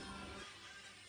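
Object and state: Nothing is struck.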